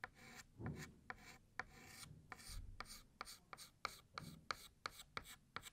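A white chalk stick held in the fingertips writes "New Year" in cursive on a large, flat, solid black chalkboard. Dry, raspy scrapes run along the board, broken by repeated sharp ticks as the chalk taps down at the start of each stroke, with a bright edge to the scratching.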